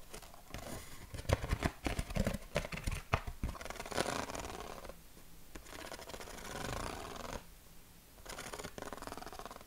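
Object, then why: Corrugated cardboard sheet. A flat yellow corrugated cardboard sheet is held in both hands while fingertips and nails tap and scratch its ribbed surface. Sharp, dry taps burst out in the first few seconds, then give way to a steady, bright scratching rasp. The sound fades briefly twice, and each sound dies away at once.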